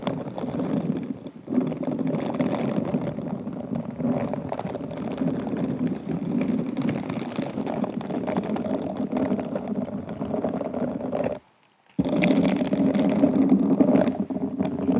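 Two pink silicone scrubber gloves rub and scratch across the surface of an inverted, hollow, stemmed glass wine glass whose bowl is covered in rhinestones and beads. A dense, continuous rasping and scraping texture with a mid-range tone runs steadily, breaks off into silence for about half a second near the 11.5-second mark, then resumes just as busily to the end.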